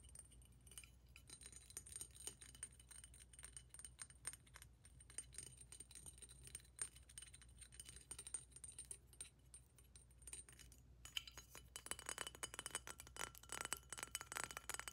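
Long nails tap rapidly on a large, hollow, clear glass water pipe with green and orange glass decorations, held in the lap, striking the glass tube and its joints. The result is a quiet stream of bright, chime-like clicks with very short ring. The tapping grows denser and louder toward the end.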